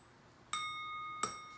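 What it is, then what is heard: Sound cut crystal dish, clear ring. A small polished cut-crystal cupped dish with a crossed diamond thatch and fan design, standing 1 and 7/8 inches, is flicked twice. Each flick gives a bright, clear ring of high tones that lingers and fades slowly. The clear ring marks it as genuine, sound crystal.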